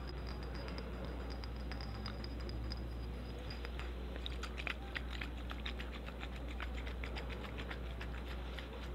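Long orange nails tap rapidly on the glass body of a hand-sized, solid-walled frosted glass perfume bottle with a silver metal cap, apparently filled with liquid. The result is a steady patter of light, bright clicks over a constant low hum, with a few sharper taps standing out near the middle.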